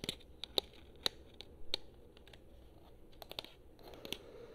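Long fingernails tap on the buttons and touchpad of a hollow, handheld blue PS4 plastic controller. About eleven short, sharp, bright clicks sound at an irregular pace. Each one is quiet and dies away instantly, over a faint background hiss.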